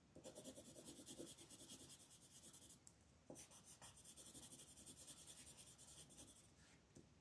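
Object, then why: Colored pencil on a paper coloring page. A blue colored pencil, held in a hand with long red nails, shades a flat paper coloring page lying on a table in rapid, short strokes. The pencil makes a steady, bright scratching and rubbing sound, with a brief pause near the middle before the strokes resume.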